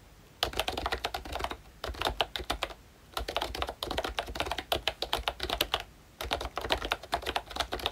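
Fingertips of both hands type on a ROYCHE Disney Mickey Mouse full-size pink retro keyboard, a plastic-cased membrane keyboard with round dark green plastic keycaps. Bursts of quick, short, bright plastic clacks come in four runs separated by brief pauses, with a soft low thud under each keypress.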